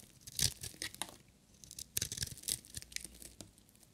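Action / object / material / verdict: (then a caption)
scrape / bar of soap shaved with a metal blade / soap / none. A solid, dry bar of black and glitter striped soap is shaved with a metal utility knife blade. It gives quick, crisp scraping and crackling bursts that are bright and dry, with almost no ring, separated by short quiet gaps.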